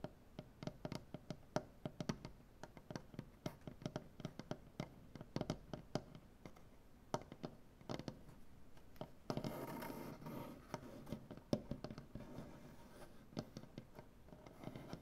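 Both hands tap and scratch their nails across a large solid maple butcher-block tabletop. Quick, dry, knocking taps with a low woody body fall in uneven bursts, and about two-thirds of the way through they give way to a brief stretch of steady scratching on the wood. The tapping then resumes until the end.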